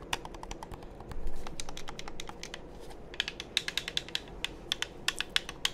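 Fingertips tap the shell of a hollow black plastic game controller held close to the microphone and click its buttons, producing a rapid run of short, dry, bright clicks with almost no ring. The clicks sit over a steady low rumble, with a brief louder rustling swell early on. The later taps stand out as sharper, more separated clicks.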